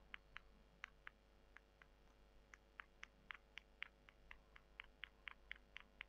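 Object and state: Dried soy chunks.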